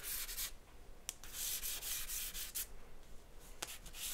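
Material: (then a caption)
Paper. A charcoal stick draws across a white paper sheet resting on a board, making continuous rubbing and scratching strokes. The sound is a quiet, bright, hissy scraping that swells and fades with each stroke, broken by a few short, sharp scratchy ticks.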